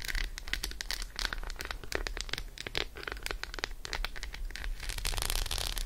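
Long acrylic nails tap fast on the embossed squares of an unwrapped solid Roshen dark chocolate bar with almonds held in the hand. The result is a rapid, dense stream of sharp, bright clicks and scratchy crinkles over a low steady hum. The tapping grows busier and brighter toward the end.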